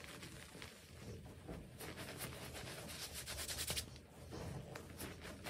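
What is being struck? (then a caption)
Pile of crushed gym chalk powder. Bare fingertips and palms rub and scratch through the surface of a large, loose, dry heap of white crushed gym chalk (magnesium carbonate) powder with small crumbly lumps. The result is a quiet, continuous crunchy scraping with a bright, hissy texture, swelling into denser, crisper bursts of crumbling toward the middle and end.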